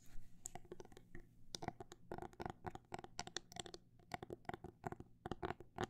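A fingernail taps on a phone case in quick, irregular bursts. The short, dry clicks have a mid-range tone around 730 Hz and no ring, over a faint steady low hum. The tapping stays quiet throughout.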